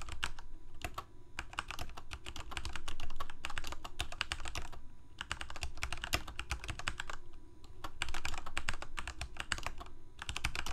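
Both hands type rapidly with their fingertips on a full-size black plastic Corsair K68 mechanical keyboard with Cherry MX Red switches and blue backlit keycaps, resting on a white desk. Dense, uneven bursts of short, clacky key presses rise and fall in loudness over a steady low rumble. Brief pauses break up the typing runs.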